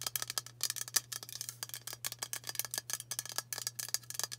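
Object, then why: Aluminium aerosol deodorant can. Long matte nails tap quickly along a hand-sized, hollow aluminium White Dove dry spray antiperspirant can. The result is a rapid run of short, bright metallic clicks with almost no ring, over a faint steady low hum.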